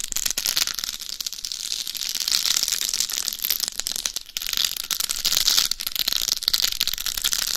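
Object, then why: Dummy head microphone covered in glass or acrylic rhinestones. Long acrylic nails scratch and tap a life-size, mannequin-style binaural dummy head microphone, a hollow shell covered in small glass or acrylic rhinestones, moving from the top of the head to the face. The result is a dense, steady stream of bright, crisp scratching and clicking, almost all in the high range with very little low end. Brief dips in the texture occur around the middle of the clip.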